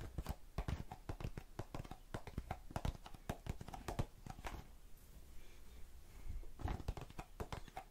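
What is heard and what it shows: Long nails tap rapidly on the base and sides of a small blue plastic tub full of cotton swabs. The result is a quick stream of short, dull, low-heavy clicks with almost no ring, softening briefly near the middle before picking up again.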